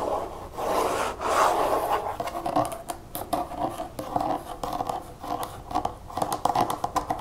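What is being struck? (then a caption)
Plastic nail polish remover bottle. Long nails scratch and tap the side and back label of a large pink plastic nail polish remover bottle holding liquid as it is held and turned. Quick, dry scratches and light taps come in uneven bursts, with a hollow mid-range tone and little low or bright content.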